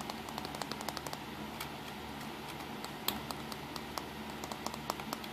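Fingertips tap on the casing and buttons of a small black plastic compact digital camera, on the back side with its buttons and control dial, as it rests on a towel. About two dozen quick, light clicks and taps sound one after another over a steady low hum.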